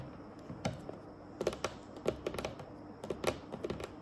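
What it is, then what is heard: Varnished wooden table tapped with nails. Long acrylic nails on both hands tap a large, solid, dark, glossy varnished wooden tabletop in a quick, typing-like pattern. About fourteen sharp, clicky taps come in irregular bursts, each with a woody mid-range knock, a bright tick on top, and almost no ring, over a faint steady background hiss.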